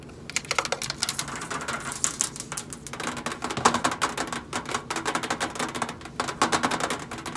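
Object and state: Stainless steel microwave side panel.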